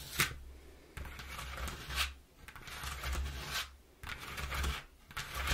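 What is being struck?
Corrugated cardboard box.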